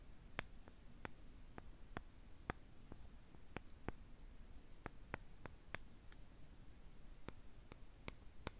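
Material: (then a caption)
Wood. Light taps inside the bowl of tiny traditional Russian Khokhloma-painted wooden spoons with pointy ends make a steady run of sixteen short, dry clicks. The clicks sound very gentle and delicate, with almost no ring, over a quiet low hum.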